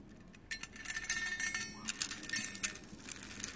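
Strands of metallic plastic Mardi Gras bead necklaces are lowered and poured by hand into an open, round, compact-style metal tin with its lid hinged up, already partly filled with gold and green beads. The beads pile up and clink against the metal bowl in a quick, irregular patter of bright, high, short rattles that fade almost instantly.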